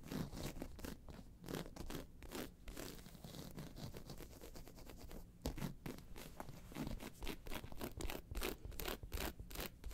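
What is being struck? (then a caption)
Croc-embossed faux leather handbag. Long pointed nails of one hand scratch the round face of a round, hollow, tan croc-embossed faux leather handbag lying on its side with its handles visible, while the hand steadies the bag at the start. A quick run of dry, raspy scratching strokes with bright edges and a soft, hollow low thud continues steadily, with a brief quieter stretch midway.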